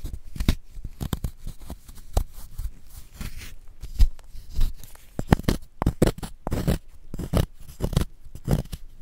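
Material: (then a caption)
Chalk. A wooden spoon repeatedly scrapes a solid, palm-sized white gym chalk block held in a gloved hand, digging out crumbly chalk. The result is a rapid series of short, dry crunching and scratching bursts with a heavy low thud, each ending almost at once.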